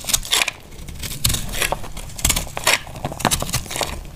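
A small knife cuts crumbly chunks off a solid, dry pink soap bar held in the hand. Each cut makes a dry, bright crackling scrape with a quick crunch, over a faint low rumble between strokes.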